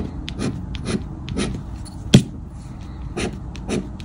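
A thin paper "Grande Sorte" scratch-off lottery ticket with a latex coating, lying flat on a dark fabric shirt and held down by fingertips, is scratched with a black round plastic or rubber scraper disc, rubbing away the coating. About six soft, breathy rasping strokes are heard, with one sharper, louder scrape near the middle, over a low, muffled background.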